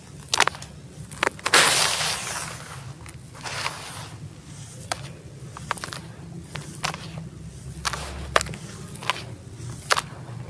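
Bare fingers scoop, rub and drop handfuls of dry, granular sand-cement crumble back onto the pile in a teal plastic tub. Sharp, bright gritty crackles and ticks sound over a low rustling bed, with a longer, louder crumbling rush near the start as a handful falls.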